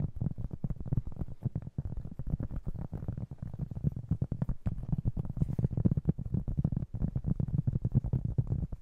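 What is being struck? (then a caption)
Cork trivet board. A round, flat, solid cork trivet about 20 cm across is held in both hands while fingertips and short nails tap and scratch its surface. The result is a rapid, steady stream of soft, dull, low thuds with very short decay and a muffled, scratchy texture, with almost no bright content.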